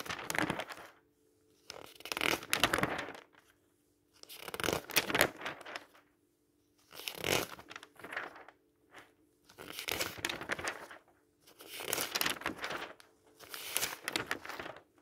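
Fingertips lift, rub and turn the glossy pages of a thin printed paper store flyer, blue with yellow price circles, lying flat on a table. Several bright bursts of paper rustling and crinkling follow one another, separated by short quiet gaps.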